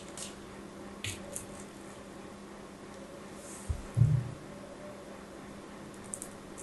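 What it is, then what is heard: Solid soap bar being cut. A knife blade cuts the edge of a solid white soap bar held in the hand, making a few sparse cuts. About five soft, squishy, dull cuts stand out from a quiet steady hum, with the loudest and fullest one near the middle. Each cut is brief and dies away quickly.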